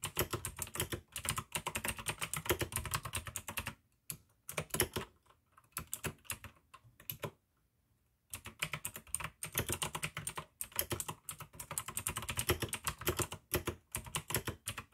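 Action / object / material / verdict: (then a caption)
tap / plastic mechanical keyboard with clicky switches / plastic / none. Fingertips of both hands type continuously on a full-size pink AUKEY mechanical keyboard with plastic keycaps and clicky blue switches. Rapid, bright clicks and clacks come in dense bursts with a short, tight ring, easing off to a near-silent pause around the middle before the fast typing picks up again.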